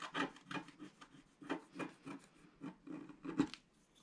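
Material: Coated paper.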